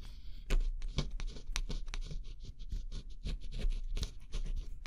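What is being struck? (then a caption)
Cardboard jigsaw puzzle with scratch-off coating. A thin pointed scraper stylus scratches the black scratch-off coating on a flat cardboard jigsaw puzzle. Quick dry scraping strokes come in short bursts, each a brief bright rasp over a steady low rumble.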